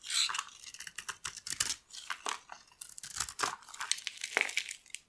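A metal blade scrapes crumbly shavings off a solid oval bar of dry yellow soap held in the palm. The result is a run of close, dry, crackling scrapes and crumbly tearing bursts, bright and high with almost no low end. Each burst stops sharply with no ring, and the scrapes come unevenly one after another.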